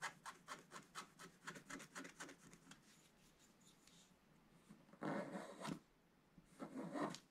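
A pointed wooden stylus scratches the lower left of a black-coated scratch-art paper page in a bound book. A quick series of short, dry scratching strokes fades into a faint rasp. Then two longer, louder scrapes with a bright, gritty edge follow.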